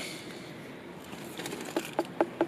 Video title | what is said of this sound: Look What We found Hiding in the Undergrowth... The Novice Grows - Allotment Growing Enplotment | if you tap it you got a nice hollow gourd sound to it